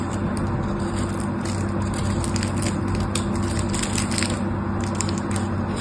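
A metal knife blade scrapes and cuts into a solid pink soap bar held in the hand, already scored with grooves, so small cubes and shavings fall off. It makes a dense, steady crackling and crunching scrape with bright gritty texture over a constant low hum.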